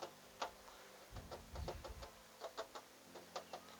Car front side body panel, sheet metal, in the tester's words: kalau misal bunyi terdengar nyaring seperti ini